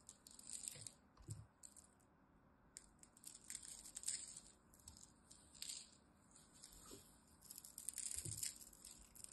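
A pile of dry, curly green grated soap shavings is scooped up, squeezed and crumbled in the hand, then let fall back onto the pile. Soft, bright crackling and rustling comes in bursts, with faint low thumps as handfuls settle, separated by brief quiet pauses.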